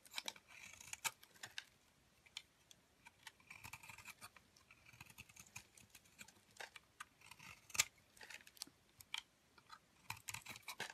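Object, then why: Solid charcoal soap cake. A wide metal blade scrapes thin shavings across the face of a round black charcoal soap cake held in the hand. The result is a quiet series of crisp, bright, dry scraping and crackling bursts with almost no low end, coming in irregular strokes with short gaps between them.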